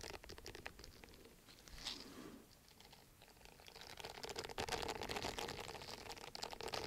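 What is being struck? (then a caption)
Silicone bristle face scrubber pad. Fingernails scratch across the bristles of a round, palm-sized, flat and solid orange silicone exfoliating face scrubber pad held up beside the microphone. The sound is a quiet, rapid, uneven patter of bright, crinkly scratches with a faint low-mid hum. It eases off briefly in the middle, then returns denser and louder for the rest of the clip.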